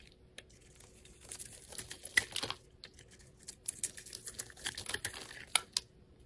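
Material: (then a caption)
Soap. A craft knife blade scrapes and shaves thin flakes off a small, solid, translucent red soap bar held in the hand. Quiet, dry, crisp scraping comes in short crackly bursts with brief pauses between strokes, bright and hissy with little low end, plus a few sharper ticks near the end. Each stroke stops dead with no ring.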